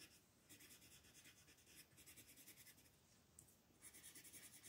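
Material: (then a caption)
Paper. A green colored pencil scratches across a thin sheet of white mandala coloring paper lying flat on a table, held by a hand with long nails, in fast shading strokes. Quiet, bright, papery rasping comes in quick rhythmic bursts with short pauses between runs of strokes.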